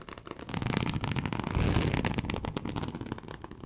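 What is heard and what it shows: Very long acrylic nails on both hands scratch a large, flat teal snakeskin-embossed leather sheet, likely faux, lying on a surface. The result is a dense, continuous crackling scratch with a heavy low rumble, swelling to its loudest midway and then tapering off.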